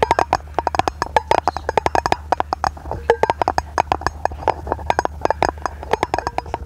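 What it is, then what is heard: Aluminium lid. A round, palm-sized, hollow brushed-aluminium lid is held in both hands and tapped quickly with long painted nails. The result is a rapid, uneven run of short, dry metallic clicks, each dying out almost instantly, with a ringing tone around 870 Hz and a faint bright edge.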